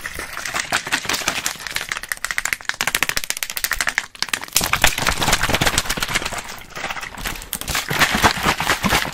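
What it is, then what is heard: Plastic water bottle. A small clear plastic water bottle with a blue cap is held in one hand and handled with fingers and rings: squeezed, crinkled and shaken, and at one point held up away from the mic. The result is fast, dense, bright crackling and clicking, with a brief lull near the middle before it picks up louder again.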